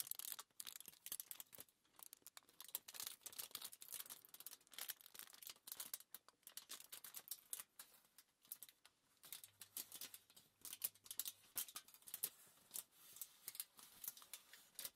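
Long nails tap and scratch across a crumpled, thin aluminium foil sheet lying flat on a table. Quiet, bright, crinkly ticks and scrapes come in rapid, irregular bursts with almost no low end, each snapping off with no ring.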